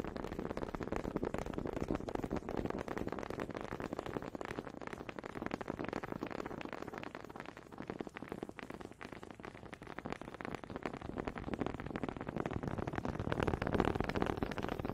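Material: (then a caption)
Wood. Two small solid wooden honey dippers are clacked against each other close to a microphone, making a rapid, continuous stream of short, dry wooden knocks. The taps are dense and fairly steady, with a slightly quieter stretch in the middle and a louder run near the end. The sound stays warm and mid-pitched with almost no ring.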